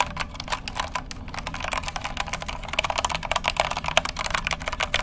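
Fingertips type rapidly on the keycaps of a compact white plastic mechanical keyboard with a hollow case, held in both hands close to the microphone. Dense, sharp, bright clacks with almost no ring run continuously, growing slightly louder toward the end over a steady low background.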